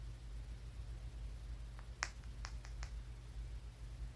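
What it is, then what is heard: Smooth flat stone. A palm-sized, solid, smooth, grey-brown flat stone is held in the fingers and tapped and scratched with the fingernails. A few sharp, brief, bright clicks come in a short cluster near the middle. They sit over a steady low hum and quiet hiss.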